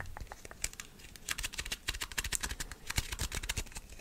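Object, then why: Plastic screw lid. A round white plastic screw-on jar lid is held between both hands while fingertips and nails tap and grip its top and rim. Quick, irregular, crisp clicks and scratchy taps follow one another closely, each dying away almost at once, with a dull low thump under some of them.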